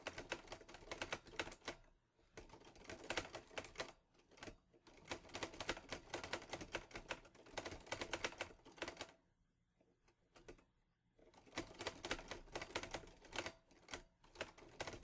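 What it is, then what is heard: Metal manual typewriter. A green metal Olivetti Lettera 22 (Underwood) portable manual typewriter is typed on quickly, fingertips pressing the keys. Bursts of sharp, bright clacks with almost no ring are broken by short pauses and a longer quiet gap near the middle.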